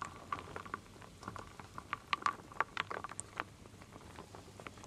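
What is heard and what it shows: A wooden spoon stirs wooden beads and acorn pieces in a full wooden bowl. Quiet, irregular patter of short, dry clicks and clatters, with a few sharper knocks in the middle and a soft steady hiss underneath. The taps die out almost instantly, with no ring.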